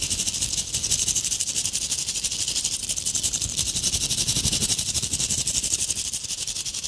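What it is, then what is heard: Tinsel-covered ornament ball. Long acrylic nails scratch quickly across a palm-sized ornament ball covered in gold metallic tinsel and glitter, held in the hands. The result is a steady, fast, crinkly rattle of dense bright strokes with a hissing high edge and little low end.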